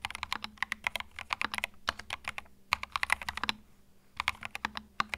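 Fingertips type continuously on a compact white mechanical keyboard with cream plastic keycaps resting on a felt mat. The result is a rapid run of bright, dry clacks with almost no ring and little low end, plus a brief lull near the end before typing resumes.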